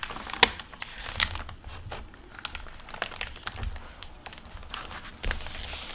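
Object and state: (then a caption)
Plastic-covered library book jacket crinkling. Fingertips turn the paper pages and flaps of an open hardcover library book with a plastic-covered paper dust jacket, making crinkling and rustling. Bright, crackly crinkles run throughout, with two sharper snaps near the start and a louder rustle toward the end.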